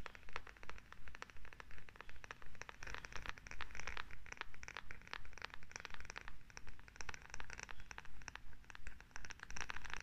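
Long acrylic nails scratch a solid wooden massage tool with a rounded head and a handle close to the mic, making quick, dry, crackly scratching strokes. The strokes come in a steady rhythm of short bursts, with bright rasping texture over a low, soft rumble.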